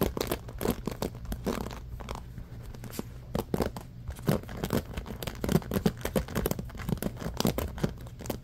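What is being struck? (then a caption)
Bamboo paddle hairbrush with rubber cushion and pins. Fingertips and nails scratch fast and hard across the wooden-tipped pins of a small rectangular bamboo/wood paddle hairbrush with a black rubber cushion, lying on a beige blanket. The result is a dense, continuous run of quick, dry, crackling scratches and taps with a dull, low-heavy body and little high brightness.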